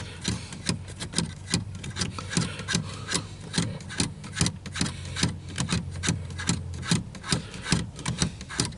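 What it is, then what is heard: Plastic car air vent. Fingertips and nails scratch across the louvered slats of a small, hollow, dark plastic round dashboard air vent beside a car's steering wheel. Quick, raspy scratching strokes repeat at roughly two to three per second, each a brief bright burst over a steady low hum.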